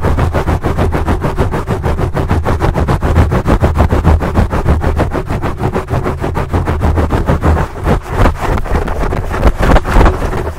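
Fingertips and nails of both hands scratch a large black foam windscreen on a microphone. The result is a steady, rapid, rough rubbing and scratching with a heavy low rumble, running continuously with a few louder bursts near the end.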